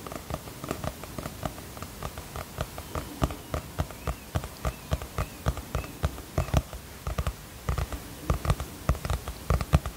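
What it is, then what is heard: Hardcover notebook being tapped. A teal hardcover notebook with a celestial print and a cardboard cover is held upright in both hands while fingertips and short nails tap on the cover. Quick, uneven taps make soft, dull, low thuds with faint clicks, each dying away almost at once over a quiet background.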